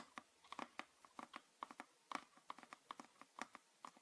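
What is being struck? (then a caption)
Plastic bottle. Fingernails tap and scratch near the neck and body of a green PET plastic bottle with a red cap, held upright and full of liquid. About nineteen quiet, dry, separate clicks land at an irregular pace, each carrying a brief hollow tone around 1.1 kHz with bright edges and no low end.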